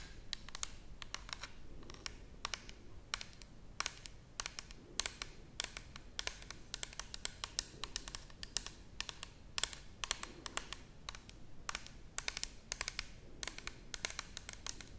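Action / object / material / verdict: tap / plastic bottle / plastic / none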